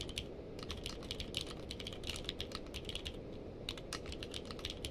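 Both hands type continuously with their fingertips on a navy/purple-case mechanical keyboard with plastic keycaps. The result is a steady stream of rapid, bright, clacky keystrokes with short sharp attacks and quick decay, over a constant low hum.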